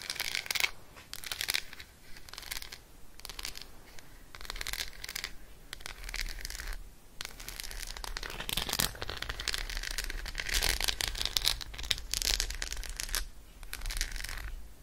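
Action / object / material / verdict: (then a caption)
tap / dark chocolate bar tapped with fingernails / chocolate / none. Long acrylic nails tap and scratch on an unwrapped, solid Roshen dark chocolate bar with almonds and embossed squares, held in the hand. Bursts of quick, bright, clicky taps and dry scratching rasps come and go over a faint low rumble, each tap dying out almost instantly.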